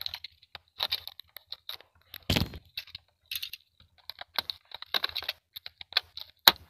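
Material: Plastic.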